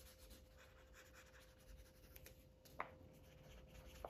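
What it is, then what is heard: Marker coloring on a paper page. A yellow felt-tip Sharpie marker rubs back and forth across a thin white paper coloring book page lying flat. It makes soft, steady scratchy strokes with a low hum underneath and a faint steady tone. Two sharper ticks stand out near the end.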